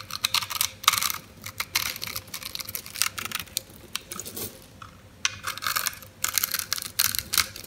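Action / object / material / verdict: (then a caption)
scrape / bar of soap cut with a metal blade / soap / none. A metal blade cuts into the grid-scored surface of a solid white oval bar of soap held in the palm, breaking it into small flakes and cubes. A rapid, uneven series of crisp, bright scraping and crackling cuts comes in bursts, each stopping short with no ring, over a faint steady tone underneath.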